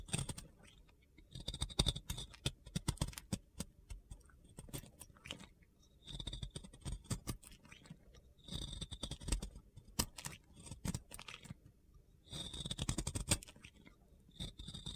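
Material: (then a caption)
Soap. A box cutter blade carves and scrapes a solid, round soap coated in pink glitter, shaving off powdery soap. Bursts of crisp, gritty crunching and scraping come in clusters with short quiet gaps, combining dull low thuds with a bright, hissy texture.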